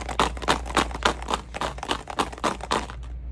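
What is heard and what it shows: Tube number two, which holds glass marbles, is shaken in a quick steady rhythm, making a series of bright clattering rattles over a constant low hum. Its sound is noticeably different from tube number one.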